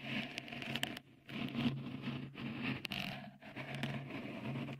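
Fingertips scratch a small, hollow, white, dimpled textured cover, likely silicone, fitted over the right microphone capsule of a Tascam recorder. Dense, close, rasping scratches come in bursts separated by brief quiet gaps, with a bright crackly edge over a steady low hum.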